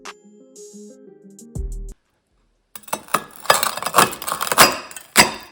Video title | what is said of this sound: How to make Homemade Sausages - 6 flavours, Chicken, Pork, Goose, Chorizo, Garlic, Cheese #keto | you can really hear how crispy they are